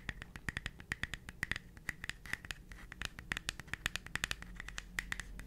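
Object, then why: Thin wooden plaque. A flat, thin, rectangular wooden plaque, hand-sized and solid, painted with a white mouse and a red character and fitted with a yellow cord, is held in the hand and scratched and tapped with long pointed nails. Many quick, sharp clicks and taps with no ring land over a soft, continuous scratching hiss, with a bright tone around 1.8 kHz and high crisp edges.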